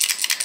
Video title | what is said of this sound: Colby's lego puzzle box | When you shake it, you can hear that.